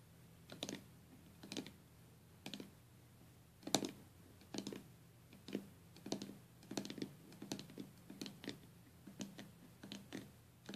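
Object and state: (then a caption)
Stained glass box. Long nails from both hands tap rapidly on the glass lid of a small stained glass box with metal came lines. Quiet, bright clicking taps come in short clustered bursts, each dying away almost instantly, over a faint steady low hum.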